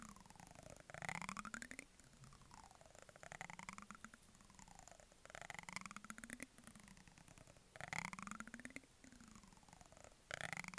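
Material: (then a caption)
Plastic. The ridged handle of a brush is scratched against the rim of a medium white plastic jar with a green plastic lid. It makes quiet, close, rapid ratcheting rasps in repeated sweeping strokes, each rising and falling in pitch. Brighter bursts come every second or two, with dry, clicky ticks that stop instantly.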